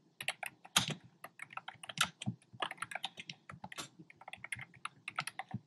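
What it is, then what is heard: Plastic keyboard keys, hollow-sounding. Fingertips with short nails type on a black plastic keyboard with hollow, round retro-style plastic keycaps in cream, pink and red. A quick, uneven run of separate, bright, hollow clacks and clicks fills the clip, each tap dying away almost at once.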